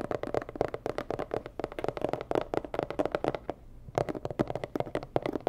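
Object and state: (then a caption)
Hollow cardboard box tapped with nails. A medium, hollow, rigid white and red cardboard box is tapped rapidly with long nails. Quick, dry, hollow taps with a midrange resonant tone near 600 Hz die away almost instantly. They pause briefly about two-thirds of the way through, then resume at the same brisk pace.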